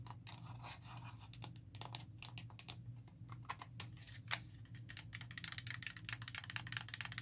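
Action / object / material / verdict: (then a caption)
tap / plastic game controller / plastic / none. Long nails tap rapidly on the buttons and shell of a black, hollow, hand-sized GameCube-style plastic controller. The taps are short, bright clicks that come in quick, uneven bursts and grow denser toward the end, over a steady low hum.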